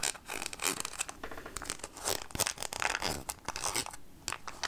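Long nails scratch along the ridged edge of the red plastic lid on a clear plastic jar full of peanuts. The result is a dense run of quick, bright, raspy scrapes that sound almost like a zipper, with short bursts that stop dead and leave no ring.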